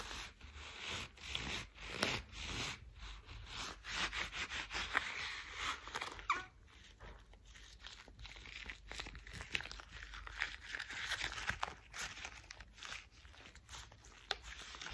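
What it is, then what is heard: Thick rubber household gloves. Gloved hands in worn, thick cream rubber household gloves are rubbed and squeezed together close to the mic. The result is a steady run of bright, crinkly rubber rubs with sharp squeaks and short crunchy bursts, continuing for the whole clip with little low end.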